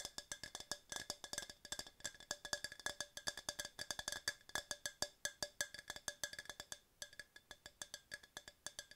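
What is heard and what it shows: Long nails tap rapidly on a tall, hollow, empty yellow hard plastic tumbler held in both hands, producing about 60 quick, dry clicks. Each tap is short with almost no ring, carrying a bright, hollow tone centered near 1.7 kHz. The tapping runs in an uneven, rhythmic patter with a brief pause near the seventh second before it resumes.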